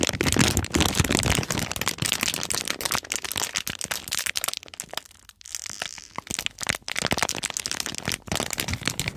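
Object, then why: Foam squishy toy sealed in a clear plastic bag. A hand-sized, milk-bottle-shaped foam squishy toy, still sealed in a crinkly clear plastic bag, is held in both hands while long nails and fingers tap and crinkle the packaging. Dense, bright crackling and crinkling runs throughout, with a brief quieter lull around the middle before the crinkling picks back up.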